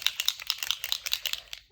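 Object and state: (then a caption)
Paint bottle with metal mixing ball rattling inside. A fine-tip bottle of bronze/gold paint is shaken with the lid on, and the metal mixing ball inside, which had earlier been stuck and blocking the tip, rattles freely. About 11 sharp, bright clicks sound in quick succession, each with almost no ring, before tapering off at the end.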